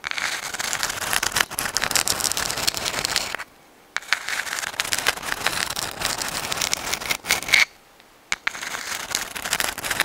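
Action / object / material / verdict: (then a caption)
scrape / dried sand dollar shell, calcium carbonate / calcium carbonate / none. Long acrylic nails scratch a dried white sand dollar, a palm-sized, thin, flat, hollow calcium carbonate skeleton held in both hands close to the microphone. The result is dense, bright, crackling scratches with almost no low end, broken by two brief silent pauses.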